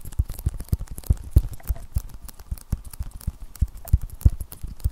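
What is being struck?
Tablet glass screen with plastic protective film.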